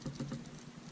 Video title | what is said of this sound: rOtring Quattro-Pen Multi Pen/Pencil Unboxing and Review | little end piece feels like flimsy and like loose you can hear it shake it